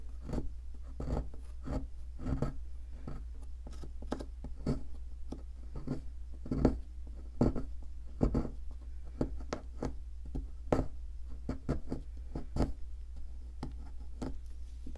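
A thin metal pick scratches into a solid white plaster ammonite fossil excavation block held by hand. The result is a series of short, dry scraping and ticking strokes over a steady low hum.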